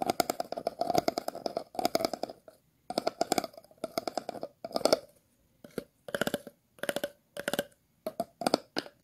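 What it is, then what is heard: Plastic water bottle being scratched. A thin metal-tipped tool is scratched over the ridged bottom and side of an empty, hollow, clear plastic water bottle held in the hands. Quick bursts of rapid, dry ticking scrapes carry a hollow midrange ring with bright edges. Short silent gaps separate the bursts.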